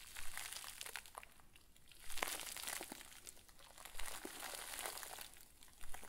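A round white plastic bag full of soft, fluffy stuffing rests on a table and is squeezed and wrung with both hands. It gives steady, bright plastic crinkling and crunching that rises and falls in waves, with a few sharper crackles standing out.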